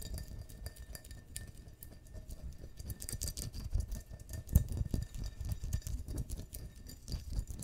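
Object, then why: Stemmed glass wine glass. A clear, hollow, empty stemmed wine glass is held in the hands and tapped and scratched with long fingernails on its bowl and stem. Quick, dense clicks and scratches patter unevenly throughout. There are also faint glassy clinks and dull low thumps.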